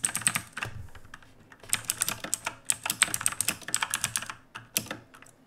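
Both hands type with their fingertips on the plastic keycaps of a black backlit mechanical keyboard resting on a wooden desk. The result is a run of sharp, bright clicks and clacks that die away almost instantly. A brief lull comes near the start, then a dense burst of keystrokes follows before the typing thins out at the end.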